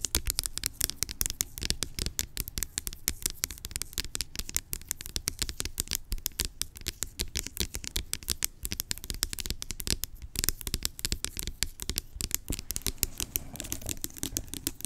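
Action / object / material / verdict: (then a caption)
tap / plastic pump lotion bottle / plastic / none. Long nails rapidly tap and scratch the cylindrical body of a large blue plastic pump lotion bottle lying on its side. The result is a dense, steady stream of crisp, bright clicks and scrapes over a low, hollow thump, with each hit dying away almost instantly.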